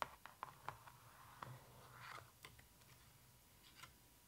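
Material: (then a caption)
Cardboard. Long nails and fingertips tap and scratch on the open spread of a pop-up book with thick glossy cardboard pages and a raised dragon pop-up. Eight quiet, sharp clicky taps with a brief mid-pitched ring are spaced irregularly across the clip. A soft scratchy swish over the surface comes through around the middle.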